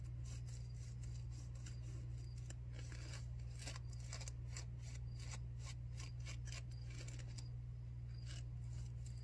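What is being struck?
Disposable non-woven fabric face mask.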